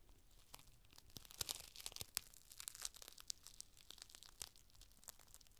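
A thin, clear plastic rain cover, folded into a packet, is held in the hands and unfolded while the fingers bend and crinkle the sheet. The result is dense, bright crinkling and sharp crackles, with louder snaps scattered over a soft rustle.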